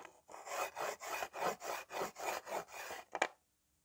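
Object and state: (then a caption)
Slate writing board. Fingertips press a white slate pencil on its side and rub it back and forth across a small, flat, solid green-framed slate writing board, with a few other pencils lying still at the edge. A steady series of raspy, gritty scraping strokes repeats in a quick rhythm, each rising and fading, ending with a short, sharper scrape before silence.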